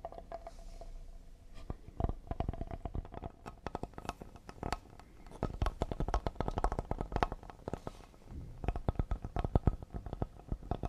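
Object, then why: Cedar wood serving board. Fingertips and short nails of both hands tap fast on a solid cedar serving board held upright. The rapid, dense taps sound dull, low and woody, each dying away almost instantly. The flurries come in bursts that swell and ease over the clip.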